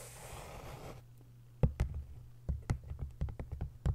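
Long nails scratch across the textured paper jacket of an open, face-down hardcover book for about a second, making a soft, breathy rasp. Ten sharp, dry taps on the front and back covers follow, each a short, dull knock with a low thump that dies away almost at once.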